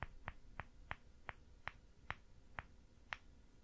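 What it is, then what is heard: Plaster excavation block. Fingertips tap from above on a small, solid white plaster excavation dig block with an embossed logo, resting on a grey table. Nine short, dry taps land at a steady pace, each a quick click centered around 2 kHz with a faint low thump and almost no ring.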